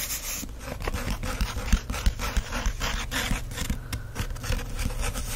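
Fingertips rub and trace across the printed paper pages of an open book. Soft, irregular scratchy rasping is heard, with a bright papery hiss over a steady low rumble and occasional dull thumps.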